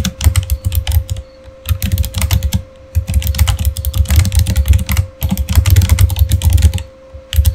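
Fingertips of both hands type rapidly on a Razer Fire keyboard, a solid, full-size, backlit plastic gaming keyboard, with dense runs of clicking keystrokes over deep thocking thumps. Short pauses break the bursts, and a faint steady tone hums underneath throughout.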